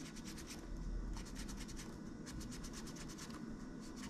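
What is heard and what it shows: Gloved fingers and a cotton swab press and scratch across the plastic keys of a silver laptop keyboard, making quick, bright key clicks and scratchy rubbing in bursts. A steady low rumble runs underneath throughout.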